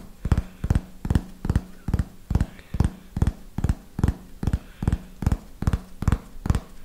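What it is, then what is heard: Hardcover paper notebook. Fingernails tap the cover and edge of a small red hardcover notebook with paper pages, held upright, in a slow, steady rhythm of roughly sixteen taps. Each tap is a short, dry, low thud with almost no ring, and a faint low hum sits underneath.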